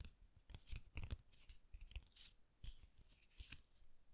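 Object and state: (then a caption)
Paper card being handled. A red cardstock card is opened by hand to reveal a yellow paper pop-up guitar, as fingertips handle, fold and rub the paper. Quiet, dry crinkles, soft scrapes and brief crisp rustles come in irregular bursts over low, muffled thumps of handling.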